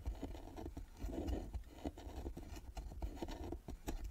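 Long nails scratch and tap the carved lid and metal lid plaque of a small hollow carved wooden box resting on a table. Quick, dull taps punctuate a soft, continuous scratching and rubbing. The sound is quiet and muffled, mostly low in tone, and each tap dies away almost at once.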